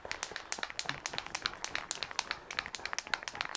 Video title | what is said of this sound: Sunday 18th April | you have to shake it for about 20 minutes until you can hear the rattle, which I can hear the rattle now